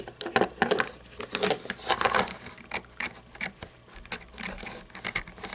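Long painted nails tap and scratch the body and grille of a small red toy monster truck with a hollow plastic body and chrome engine parts. The result is a rapid, uneven patter of short, dry clicks and scraping rasps with bright, hollow plastic tones and almost no ring after each tap.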